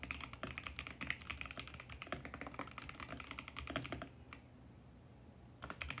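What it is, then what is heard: Plastic mechanical keyboard. Fingertips type rapidly on a compact 65% VGN X68 mechanical keyboard with purple, pink and mint plastic keycaps on a mint case, resting on a white desk. A dense stream of bright, clicky key presses runs for about four seconds, pauses briefly with a single tap, then resumes near the end.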